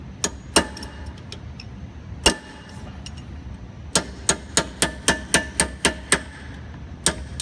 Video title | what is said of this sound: Changing Brakes on a 2007 Charger SRT 8 - Brembo Brakes | you can hear the the pitch change when you're hitting it so you know you bottomed out it's kind of counter sunk